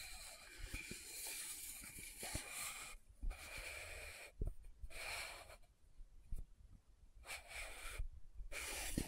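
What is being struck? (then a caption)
Small plastic powder jar. Long manicured nails tap and scratch the lid and sides of a small, round, closed Estee Lauder loose powder jar, likely plastic, with a dark glossy lid and pink base, held in one hand. Bursts of soft, hissing, bright scratching come and go with short quiet gaps, punctuated by dull low taps.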